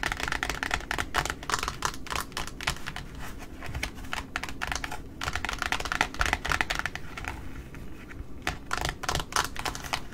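Long nails tap rapidly on the white cardboard top of a large, flat pink satin ribbon spool lying on a table. The result is a dense run of short, dry, clicky taps with almost no ring, like fast typing.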